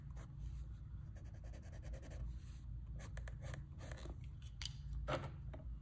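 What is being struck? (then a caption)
Colored pencil on drawing paper. The tip of a light blue wooden colored pencil draws and shades on a large, flat sheet of drawing paper bearing a colored sketch. Quiet, repeated scratching and rubbing strokes with bright, brushy edges sound over a steady low background hum.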